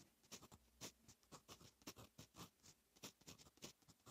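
A fine metal fountain pen nib writes Korean text on a lined paper notebook page, making quick, bright scratching strokes. The short, dry scrapes come in a steady, irregular rhythm of about twenty strokes, quiet and close.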